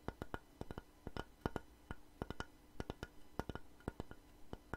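A long, light-coloured solid wooden plank held upright is tapped and scratched with long nails and fingertips. Many short, dry, woody taps sound in an irregular rhythm with very little ring, against a low, quiet background hum.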